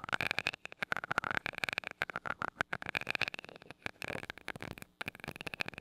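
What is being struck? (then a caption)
Metal mesh microphone grille tapped with a glass rod. A glass rod with a rounded tip taps and rubs the small gold metal mesh grille of a handheld mini mic. The result is a rapid run of short, dry clicks and scratchy rubbing, bright and crisp, centered around 1.4 kHz with almost no low end. The taps come in quick clusters, with a brief pause near the five-second mark.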